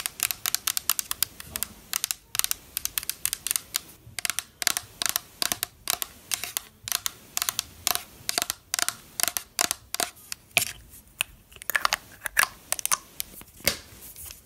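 Long black nails tap quickly on the body of a pink plastic spray mist bottle, then on its black cap. The result is a steady stream of short, sharp, bright clicks that die away almost instantly, with almost no low end.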